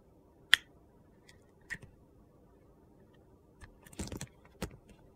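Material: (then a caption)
Soap. A utility knife shaves slices off a small solid orange bar of soap with a dark glitter layer, held in the fingers. Short, bright, crisp crunching and scraping clicks sound against a quiet background, with the sharpest cut near the start and a quick cluster of gritty shaves toward the end.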